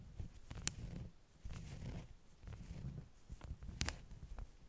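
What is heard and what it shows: Long nails tap and scratch the top sheets of a stack of flat beeswax-coated cotton wraps. Sharp, bright taps cut through low, rumbling scratching that swells and fades in stretches, with light crinkling throughout.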